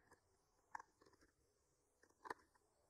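A thin wooden skewer with a microphone clipped to its end is slowly traced and scratched along the painted lines of a flat, solid painted wooden board bearing a tree artwork. Faint, dry scratching ticks and soft crunchy clicks are heard over a quiet hiss, with two sharper, brighter scrapes standing out. Each sound is short and dies away at once.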